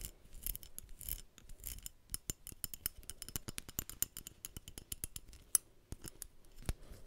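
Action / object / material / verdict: scrape / small metal belt buckle and prong / metal / none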